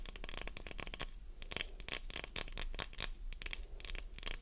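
A solid translucent green glycerin soap bar is held in hand while long nails tap and scratch its top, edges and sides. A rapid run of short, bright scratching clicks comes in quick bursts, with a dull low thud under some of the taps.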